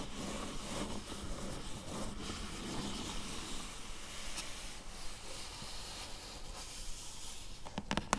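Long yellow-tipped nails scratch steadily across the top of a flat, closed, medium-sized hollow corrugated cardboard box lying on blue fabric, making a soft, continuous papery rasp. Near the end, three sharp taps on the box surface stand out.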